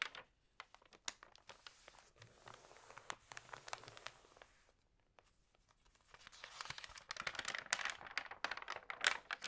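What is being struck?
Printed magazine, glossy paper.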